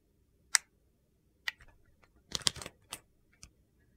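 A solid translucent green-swirled glycerin soap bar, held in the hand, is shaved along its edge with a utility knife. Short, crisp, bright scraping clicks come at irregular intervals, with a quick cluster of shaves in the middle, and each stops almost at once in otherwise quiet surroundings.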